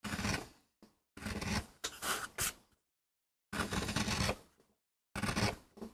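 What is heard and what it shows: A gloved hand pushes a wooden-handled metal gouge across a small, palm-to-hand-sized flat solid MDF board inked with a rose design, carving and scraping its surface while the other hand holds the board steady on a rubber mat. The clip has several short, dry rasping strokes, each a broadband scrape with a low body and a bright, crisp edge. The strokes stop abruptly with brief silent pauses between them.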